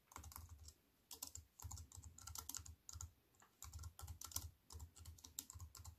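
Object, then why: Aluminium and plastic computer keyboard. Fingertips with long white-painted nails type on a slim wireless keyboard with a silver aluminium frame and black plastic chiclet keys, resting on a wooden table. Quick bursts of keystrokes come in short runs separated by brief pauses, each tap a crisp, bright click over a soft low thud that dies away almost instantly.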